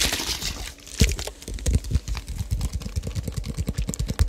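A white-labelled plastic drink bottle of about 500 ml with a dark cap is held near the microphone and tapped with fingertips and nails along its body and cap. It opens with a brief crinkly rustle, then a quick, uneven run of short, dull, hollow taps, each fading almost at once.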